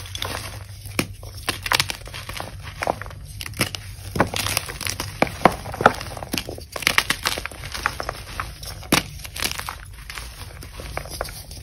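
Pieces of a solid, brittle, dyed white-pink-blue gym chalk block (magnesium carbonate) are crushed and snapped between long-nailed fingertips over a bowl of chalk powder. A steady stream of dry crumbling and crinkling is heard, broken by many sharp, bright cracks and snaps that die away almost instantly.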